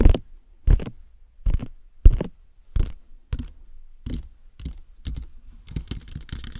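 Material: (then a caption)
Hard plastic. Fingertips and nails scratch and rub across the face and forehead of a matte black hollow plastic dummy head microphone. Each stroke is a short burst with a deep, close thump and a bright, scratchy rasp, separated by brief silences. Toward the end, the strokes come faster and run together.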